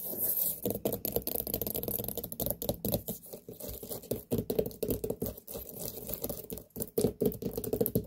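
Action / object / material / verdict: tap / large whole pumpkin, firm ribbed rind / pumpkin rind / none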